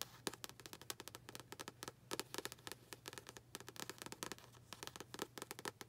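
Long pink acrylic nails tap rapidly on the glossy paper front cover of an upright paperback copy of "Don't Sweat the Small Stuff." The taps are a quick, uneven stream of crisp, bright clicks that die away almost instantly, over a faint low, steady hum.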